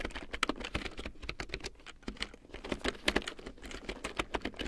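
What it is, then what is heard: Plastic keyboard being typed on. A full-size large print keyboard with a black plastic frame and big yellow plastic keycaps, lying on faux fur, is typed on with long painted nails and fingertips. It gives a rapid, uneven patter of short, dry plastic clicks and taps with bright edges that stop almost instantly, with a few louder strikes standing out.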